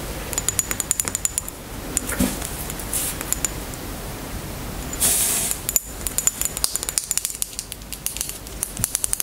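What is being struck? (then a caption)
Plastic roll-on deodorant bottle. Long nails tap rapidly on a small white plastic roll-on deodorant bottle, which is handled and then stood on a table. The sound is a quick run of sharp, bright clicks, broken by a short, hissy burst of high-frequency noise around the middle before the tapping resumes.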